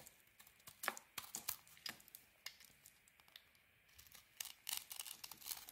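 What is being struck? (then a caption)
Soap bar. A metal blade carves a solid white soap bar with a grey rim, and chunks and flakes pile up below. Quiet, dry, crisp scraping and crackling cuts come in irregular short bursts, each bright and quick to fade, with brief pauses between strokes.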